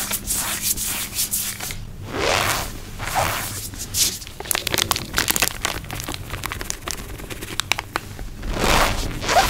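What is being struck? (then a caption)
Cornstarch powder in the hand. A bare hand with long pink nails squeezes, rubs and crumbles a handful of loose, crumbly, clumpy white cornstarch (cornflour) gym chalk powder in the palm and fingers, over a surface covered in more cornstarch. Soft, breathy crunching swells alternate with a dense run of sharp, bright squeaks and crackles. The result is a squeaky, crunchy texture with no ringing tail.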